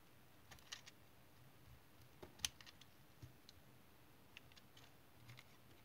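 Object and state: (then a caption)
Tar soap bar being shaved with a knife. A utility knife blade shaves chips off the side of a solid, elongated brown tar soap bar held in the hand. Eight short, crisp, bright scraping clicks with almost no ring sound over a quiet background, the loudest coming about midway through.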